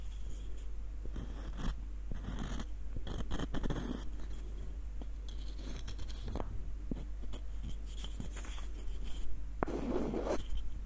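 Fingertips and nails scratch and tap a small, hollow, light-wood screw nutcracker with a threaded screw. The result is a soft, continuous run of dry scratching and scraping, broken by brief light taps and faint ticks, over a steady low hum.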